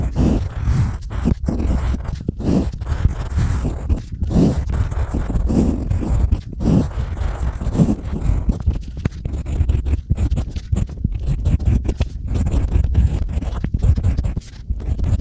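A pointed stylus scratches and carves grooves into a small, solid, flat slab of unfired pottery clay painted light blue. The result is a continuous run of dense, dry scraping and crackling, heavy in low rumble, with short bursts of brighter grit.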